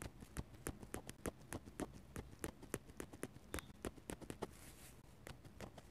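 A metal-nib dip pen stipples rapidly on a paper sketchbook page, making about 25 quick, dry, bright taps in an uneven rhythm of roughly three per second. Each tick dies away almost instantly, with faint scratches between them and a softer brushing scratch near the fifth second, over a low, quiet background rumble.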